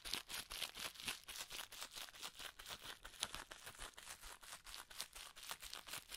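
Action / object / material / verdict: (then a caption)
scrape / crumpled plastic bubble wrap / plastic / none. A ball of clear plastic bubble wrap with air-filled bubbles is squeezed and crumpled in both hands. The result is a steady, rapid run of bright, crisp crinkling and crackling bursts that fade quickly, with only a sharper pop now and then. There is very little low end, and the overall level is quiet.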